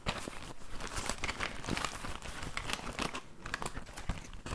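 A small, soft, hollow olive-green fabric pouch with a metal zipper, its contents not visible, is held against the microphone and scratched and rubbed with fingertips and nails. It gives a steady stream of close, crinkly scratching with quick, dense bursts that have both a low rumble and bright rustle, fading in and out throughout.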